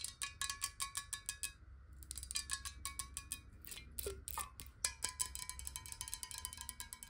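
A clear, hollow, square glass bottle partly filled with water is held in the hands and tapped quickly along its side with long acrylic nails. The result is a rapid run of bright, clicky taps, each with a short glassy ring, briefly pausing around the two-second mark before continuing.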